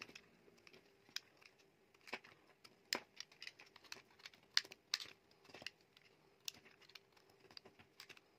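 A metal utility knife blade shaves thin slices off a solid, dry, palm-sized teal oval bar of soap. Each cut is a short, crisp, bright scrape with a brittle crackle, coming in an uneven series over a faint steady background hum.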